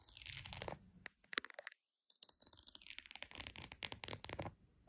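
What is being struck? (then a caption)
Croc-embossed leather purse. A croc-embossed, croc-textured purse is tapped and scratched with quick, close-up strokes. Bursts of crisp, bright scratching and sharp, dry taps are broken by a short silent pause near the middle, then the scratching resumes steadily. The sound is quiet overall, with little low end.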